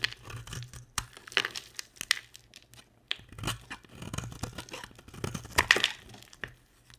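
A box-cutter blade scrapes crumbly shavings off a solid, dry, hand-sized green and white striped bar of soap. Many short, bright, crunchy scrapes with a tearing, crinkly texture come in quick irregular bursts, each cutting off almost at once.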